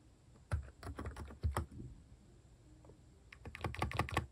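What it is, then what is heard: Plastic keycap capacitive keyboard. Fingertips tap quickly on a capacitive keyboard with plastic cat keycaps, making soft, muted clacks with a low thud and a bright click on top. A burst of typing is followed by a quiet pause of about a second, then another rapid flurry of keystrokes, with each tap dying away almost instantly.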